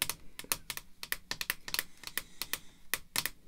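Red artificial nail tips tap a small, hollow, hard clear plastic graded slab holding a 1963 baseball card as it rests on black cloth. Eighteen quick, bright, dry clicks come in uneven bursts, each dying away almost instantly, sounding much like typing on a keyboard.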